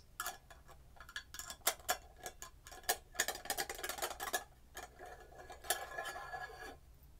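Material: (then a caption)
Glass, metal. Long acrylic nails tap on the gold metal screw lid and the glass sides of a red glass jar candle filled with wax. A quiet, rapid, irregular run of sharp, bright clicks follows, some carrying a faint glassy ring near 670 Hz that fades almost at once.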